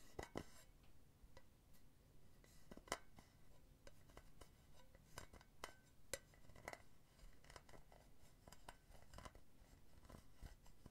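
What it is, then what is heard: Metal mesh pen holder tapped and scratched. Long painted nails tap and scratch the base of a hollow, empty silver metal mesh pen holder turned upside down. Short, bright metallic ticks and clinks come at an irregular pace, each dying away almost at once, mixed with soft scratchy rasps over a low background rumble.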